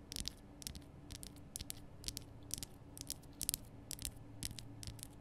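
Long nails tap and scratch the rough front surface of a large, lit pink Himalayan rock salt lamp made of solid salt. A quiet series of short, bright, crisp clicks and scratchy rasps sounds over a steady low hum.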